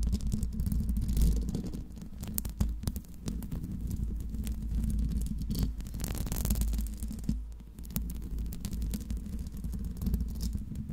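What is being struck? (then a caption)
Metal mesh microphone grille. Long pink nails scratch the hollow metal mesh grille of a Blue Yeti microphone, producing a dense, boomy rumble that sits almost entirely in the low end. Sharp clicks and scrapes break through at irregular moments as the nails catch on the mesh, with a brief brighter rasp midway through.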